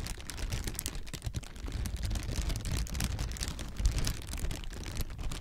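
A clear plastic air-pillow packing strip, inflated and partly deflated, hollow and light, is held in the hands and squeezed and crinkled with the fingers. It makes a steady stream of dense crinkling and crackling over a soft, low rumble, with bright crisp snaps scattered throughout.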